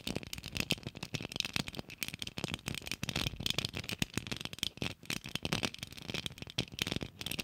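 A small hollow rose-gold Christmas ornament ball with an embossed geometric pattern and a gold cap, probably shatterproof plastic, is held in both hands close to the mic and tapped and scratched with long acrylic nails. The result is a steady, rapid stream of dry, bright clicks and scratchy rattling with no ring after each tap.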